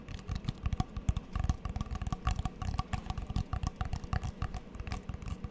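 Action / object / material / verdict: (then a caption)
tap / cork coaster with plastic frame / cork / none. Long fingernails rapidly tap a small, flat, solid square coaster with a cork centre and a checkered plastic frame, held close to the mic. The taps come as a quick, uneven patter of short, dry clicks over a soft, low, thuddy body, each dying away almost instantly.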